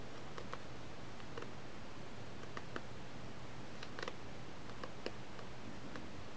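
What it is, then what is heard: Paperback manga book. Long acrylic-style nails tap on the glossy paper front cover of a solid Negima! volume 5 paperback manga held upright in both hands. The result is a scattering of soft, quiet, sharp clicks over a steady low hum and a faint, steady high-pitched tone.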